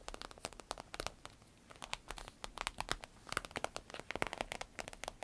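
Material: Vinyl.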